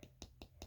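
A fingernail taps the outer mother mold of a silicone baby doll mold, the hard shell that holds the soft Dragon Skin silicone glove mold. Four short, dry taps sound with quick decay and a bright click over a low hum.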